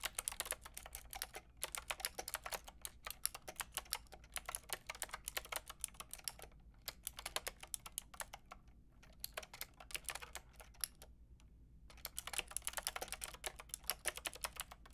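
A white-and-pink Lofree mechanical keyboard with round plastic typewriter-style keycaps and a hollow plastic case is typed on with long painted nails and fingertips. The result is a steady stream of quick, bright, clacky keystrokes, broken by a few short pauses, over a low steady hum.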